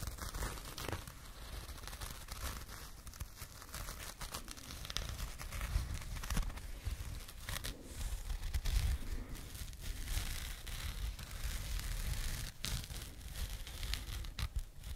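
A small burlap jute pouch, held in both hands, is scratched with long nails close to the microphones. The result is a continuous, dense, coarse rough scratching and crinkling texture with sharp fibrous bursts and a low rumble underneath.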